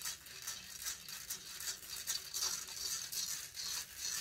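Long fingernails scratch the hollow metal mesh grille of a silver condenser microphone. The result is a bright, rattling scratch made of quick, somewhat uneven strokes, almost entirely high-pitched with barely any low end.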